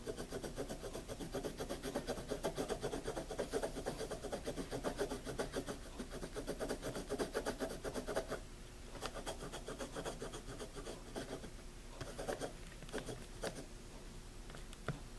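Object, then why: Graphite pencil on a paper notebook page. A hand writes steadily with a wooden pencil on the paper page of a wire-bound spiral notebook, the graphite making a dense, continuous scratching for about eight seconds. The writing then turns sparser, with short separate strokes and light taps against a quieter background.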